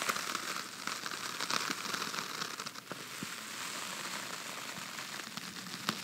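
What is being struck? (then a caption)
Cardboard box base. Fingertips and nails scratch and tap the white lined inside of an open, empty red cardboard box base held in one hand. It makes a steady, bright, crackly scratching with almost no low end, broken by sharp, dry taps that fade quickly.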